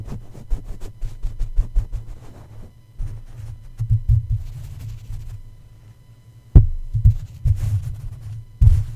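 Plush toy feet press and tap on top of the hollow black metal mesh grille of a red condenser microphone. A quick run of soft, muffled low thumps gives way to slower, deeper presses over a steady low hum. A few sharper, louder knocks near the end each die away almost at once.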